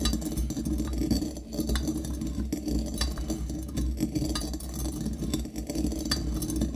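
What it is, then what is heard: Brass mortar grinding coffee beans. A metal pestle repeatedly strikes and grinds coffee beans inside a small, hollow brass mortar held in the hand. Rapid, steady metallic clinks and taps ring briefly over a dense low rumble, with bright glassy chinks and beans rattling and crunching throughout.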